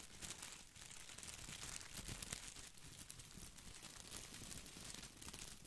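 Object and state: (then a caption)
Plastic artificial boxwood ball. Fingertips and nails scratch the small plastic leaves of an artificial boxwood ball close to the mic. The result is a steady, bright crinkling and rustling texture with soft low thumps underneath. It varies gently in loudness but never stops.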